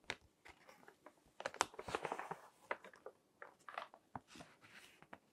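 Fingertips with long nails flip and crinkle the pages of a thick, crinkled glossy paper magazine lying on a table. Quiet, crisp crackles and dry rustles come in short bursts, with a denser, louder stretch of crinkling near the middle and a few sharp, bright clicks from the pages and nails.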